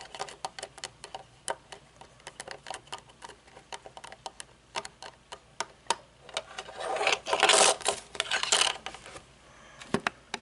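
Long nails tap the metal temple arm and frame of dark-lensed aviator sunglasses, making quick, uneven, bright clicks for about six seconds. A louder, rough scratching over the frame follows before the sunglasses are laid on the table with a couple of final taps.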